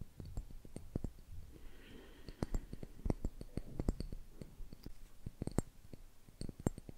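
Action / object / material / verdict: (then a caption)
tap / small glass jar with metal screw lid / glass, metal / none. A small, clear glass jar with a screw-on metal lid, mostly empty, is held close and tapped and scratched with fingertips and nails. Quick, dry clicks and taps come in an irregular stream, with a faint scratchy rustle between them and a low, soft body under the sharp ticks.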